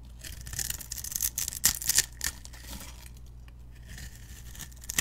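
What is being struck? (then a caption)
Soap bar scraped with a metal blade. A metal utility knife blade scrapes across a solid pink soap bar, pre-scored in a grid with a glittery edge and held in the hand, so small cubes fall off. The scraping gives crisp, bright crackling bursts through the first half, then settles into a softer, steady high hiss.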